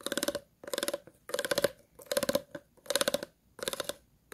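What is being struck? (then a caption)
Ridged plastic water bottle. The tips of a pair of scissors scratch across the ridges of an empty, hollow, clear plastic water bottle in six short bursts. Each burst is a rapid run of dry, clicking rasps with a hollow tone around 560 Hz and bright high crackle. The sound stops sharply between strokes with almost no ring.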